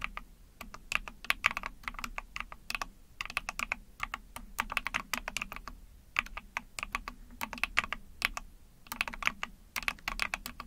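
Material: Plastic.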